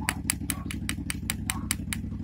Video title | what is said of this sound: ПЛАВКА СВИНЦА. Где найти свинец. Слитки из балансировочных грузиков. | у свинца он немного глуховатый. Вот так они примерно и отличаются.